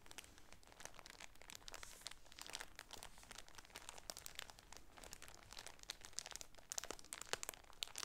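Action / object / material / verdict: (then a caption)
scrape / shower curtain in thin plastic wrap / plastic film / none. Both hands squeeze and crinkle the thin plastic wrap of a polka-dot shower curtain package. A steady, quiet stream of bright, dense crackles runs throughout, with sharper, louder snaps toward the end.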